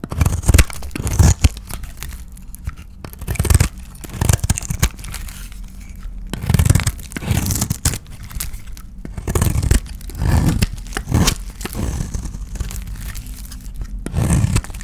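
A dry, solid white oval soap bar painted blue is held in the hand and scraped and shaved with a utility knife blade. It gives irregular bursts of crunchy, tearing scrapes with dull low thuds beneath, separated by quieter gaps, with a little bright crinkle at the edges.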